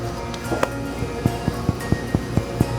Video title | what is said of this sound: Discover Foodie Hotspots in Central Wisconsin: Main Grain Bakery And Father Fats | tap it and it's hollow